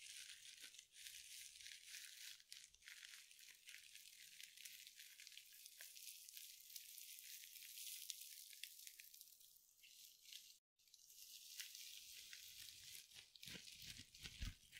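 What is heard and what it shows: A small soft sponge wrapped in glittery mesh is squeezed and scratched with long nails and fingertips. The result is a steady, bright crinkling and scratching with quick tearing-like rasps, mostly high with little low end. There is a brief silent gap near the eleven-second mark.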